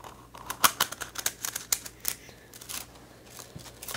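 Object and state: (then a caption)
Plastic coil spring toy. A small rainbow-colored plastic coil spring toy with a hollow coil is held in the hands, stretched, shaken and let clack together, then set on the desk. Quick, bright, dry plastic clicks and rattles come in clustered bursts over a faint low hum, with short ringing.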